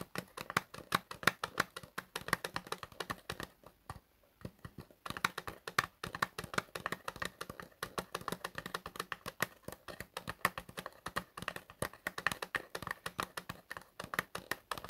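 Fingertips quickly tap a small cardboard medicine cream box held in both hands, making a rapid stream of crisp, dry, typing-like clicks with almost no ring and a bright midrange tone near 1.4 kHz. The tapping stops briefly around four seconds in, then resumes at the same fast, steady pace.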